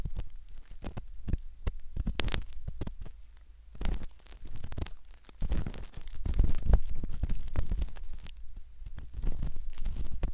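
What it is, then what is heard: Silicone ear model scraped with a metal pick. A thin, curved metal ear pick scratches and scrapes inside the concha near the ear canal of a soft, skin-toned silicone ear, likely the ear of a binaural microphone. Close, muffled, low rumbling scrapes and crackly rubs come in quick, irregular bursts, swelling and fading in loudness throughout.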